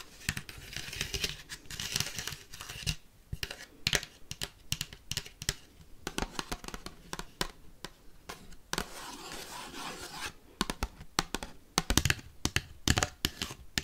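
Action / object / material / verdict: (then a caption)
tap / paper plate / paper / none. Paperclips rapidly tap and scratch a paper plate, giving fast, dry, crinkly clicks and papery scraping. Bursts of sharp taps alternate with longer rough scratching strokes, and each sound stops almost instantly with no ring.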